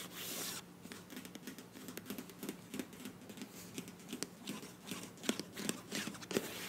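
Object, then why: Filled soft plastic squeeze tube. Long nails scratch and rub the printed body of a filled beige plastic face wash tube with a bronze cap. A brief bright hiss opens the clip, followed by soft, irregular scratchy rustling with sharp, dry ticks and clicks that die away almost instantly. The sound stays quiet and close throughout.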